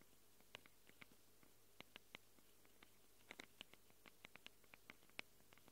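Long acrylic nails scratch quickly across the metal-rimmed microphone capsules of a small Tascam handheld recorder with a plastic body. About 20 sharp, bright clicks and scrapes come at an irregular pace over a low, steady hum.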